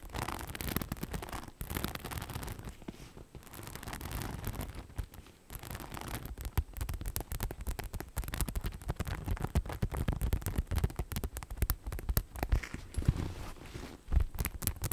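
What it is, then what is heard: Rhinestone-studded bag, tapped and scratched. A cream crossbody bag covered in rhinestones and studs is held in both hands while long decorated nails tap and scratch across its studded surface. The result is a steady stream of quick, dense clicks and scratchy rasps. Most of the energy sits low, with only a faint bright edge.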